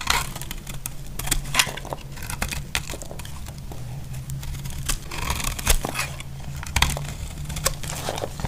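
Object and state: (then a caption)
Dry bar soap being carved. A solid, dry pink bar of soap held in the hand is carved at the edges with a utility knife, breaking off crumbly flakes. Dry, crisp scraping and crackling cuts come in short bright bursts, some sharper than others, over a steady low hum.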